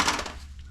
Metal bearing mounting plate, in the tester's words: it's more of a dull thud